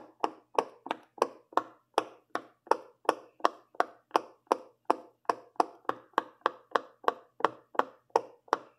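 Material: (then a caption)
Silicone. Fingertips with long purple nails press and pop the hollow bubbles along a row of a large rainbow silicone pop-it fidget toy. About 25 short, dry pops come at a quick pace, each a brief midrange snap centered near 900 Hz that dies away almost instantly.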